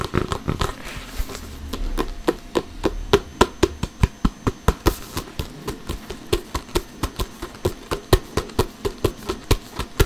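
An inflated hollow soccer ball with a synthetic leather cover is tapped and slapped with an open palm and fingers while being turned. The result is a steady series of short, dull, low thumps that die away almost instantly, with a faint rustle between hits.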